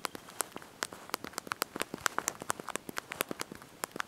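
Thumbs and fingertips press and tap the small backlit plastic keys of a handheld slide-out mobile phone's QWERTY keyboard while typing a message. About two dozen quick, dry clicks come in an uneven rhythm, each a sharp tick centred around 1.4 kHz with bright high edges. Every click dies almost instantly over a faint, quiet background.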